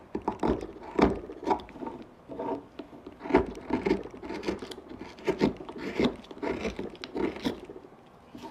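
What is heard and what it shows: A hand-pushed gouge cuts and scrapes a small, solid, pale wooden pipe blank with a rounded carved bump. A steady run of short, dry shaving and scraping strokes is heard, each with a woody mid-range body and a quick, crisp fade, separated by brief quiet gaps.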